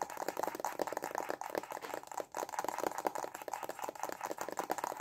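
Fast tapping with short fingernails and fingertips on a small, hollow, white printed cardboard stylus pen box held in both hands. The result is a quiet, dense stream of dry, hollow clicks with a papery mid tone around 750 Hz and almost no low end. Each tap stops instantly with no ring.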